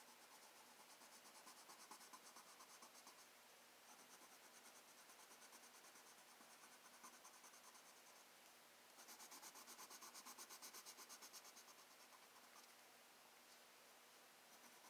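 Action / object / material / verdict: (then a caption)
scrape / paper sketchbook page under a pencil tip / paper / none. A black wooden colored pencil tip scratches across a thin, flat sheet of spiral-bound sketchbook paper in small, dense coloring strokes. It makes a soft, steady, bright, papery scratching with a rapid back-and-forth rhythm. The strokes grow louder and more pronounced for a few seconds in the middle before settling back to a quiet rasp.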